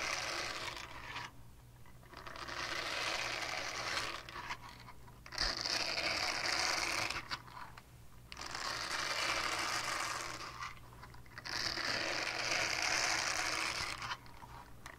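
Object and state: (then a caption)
Silicone scrubber pad. Long painted nails scratch over the textured bristle face of a small, flat, solid purple silicone scrubber pad held in the hands. Dense, bright, crackly scratching comes in long sustained passages, each separated by a brief quieter pause, over a faint low hum.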